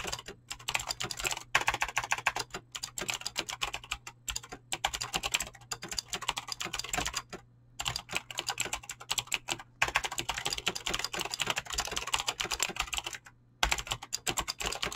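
Fingertips type fast on a Razer BlackWidow mechanical keyboard with clicky green switches and pink-blue dyed PBT plastic keycaps. The result is a dense stream of sharp, bright clicks with very short decay, over a faint steady low hum. Brief pauses break the typing near the middle and again near the end.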